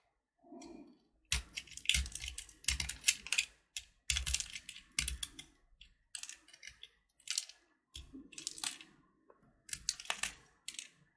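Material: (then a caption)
Sugar shell. A small, solid blue sugar-coated chocolate button (Gems), held in the fingertips, has its hard candy shell scraped and carved with a metal snap-off utility knife blade, chipping off flakes. Short bursts of bright, crisp scratching and crunching come in uneven clusters separated by brief pauses, with a soft, dull low sound near the start.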